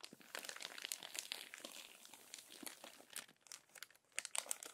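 Fingertips and long nails smooth and rub the crinkled pages of a thick, previously crumpled glossy paper magazine lying open and flat, and one page is turned. Dense, quiet crackling and crinkling fills the clip, bright and high with almost no low end, broken by quick sharper snaps of paper.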